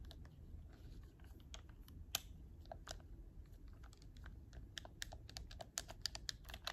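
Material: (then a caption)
Plastic. A hollow black plastic PS4 game controller is held in both hands while fingertips repeatedly press its triggers and shoulder buttons. The result is a steady run of short, sharp, bright plastic clicks over a quiet, low rumbling background.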